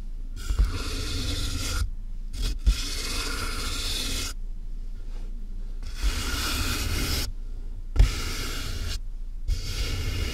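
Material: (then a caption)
Cardboard. Fingertips scratch the top and sides of a medium, closed, hollow corrugated cardboard box with a microphone inside. Bursts of dry, rasping scratches alternate with short silent pauses over a deep, boomy hollow resonance, and occasional soft thumps stand out from the scratching.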